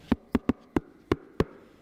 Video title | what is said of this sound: Wake Up Call (10th May 23) | if I do the knock test you can hear How firm it is can't you they're really really well constructed